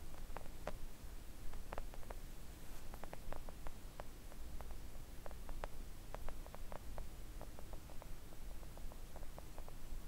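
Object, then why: Silicone mat tapped with acrylic nails. Long acrylic nails of both hands gently tap a thin, solid, flat pink silicone nail art mat resting on a table. Quick, soft clicking ticks scatter across the clip, each dying away almost at once. A steady low hum runs quietly beneath them.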